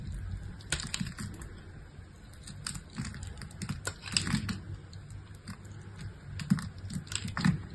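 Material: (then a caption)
Soap. A solid pink bar of soap, scored and chipped, is held in the hand while a utility-knife blade scrapes and cuts pieces off it. Short, crisp scraping and snapping clicks come in irregular bursts over a soft low rustle, with some cuts carrying a bright edge.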